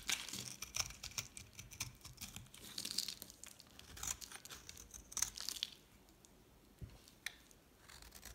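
A solid, palm-sized pink dry soap bar with a black painted rim is held in the hand and shaved into flakes with a metal utility knife blade. Dense, bright, crisp scraping and crackling fill the first six seconds, then fade to near quiet before a few lighter scrapes return at the end.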